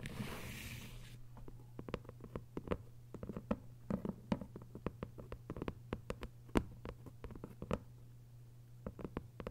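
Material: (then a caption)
Paper. Long white nails tap quickly and lightly on a thick hardcover novel with a paper dust jacket lying flat, making dozens of dry, crisp clicks that die away almost instantly. A steady low hum runs underneath throughout, and a brief bright hiss fades out in the first second.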